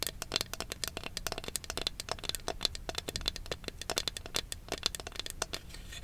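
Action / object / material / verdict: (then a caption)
tap / small wooden ornament / wood / none. A wooden Going Merry Jolly Roger flag ornament is tapped and scratched. The result is a dense run of quick, dry clicks and crackly rattling with little low end.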